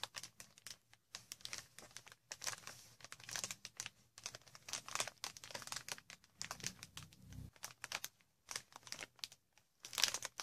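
Long red nails scratch along the cells of green inflated plastic air cushion wrap and squeeze it. The result is a steady run of bright, crisp crinkling and scratchy bursts with brief pauses between them, each dying away almost at once.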